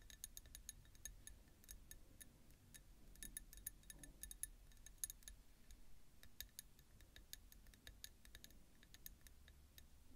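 Long nails tap the outer wall of a small ribbed peach ceramic bowl full of roasted pumpkin seeds, which sits on a bamboo plate. The result is a rapid, uneven stream of quiet, bright clicks with almost no ring, over a low, steady rumble.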